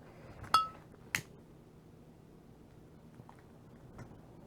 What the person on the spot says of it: You can hear the little tapping. So the, oh yeah, plastic bead is quite hard